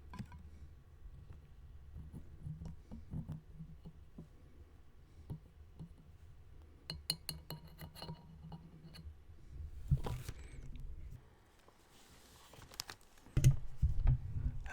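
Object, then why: Glass canning jar with metal lid. Metal lids of glass canning jars are tapped with repeated light clicks, clinks and scratches. The sound is short and dry over a low background hum. A louder scrape-like burst comes near the tenth second, and denser tapping follows toward the end.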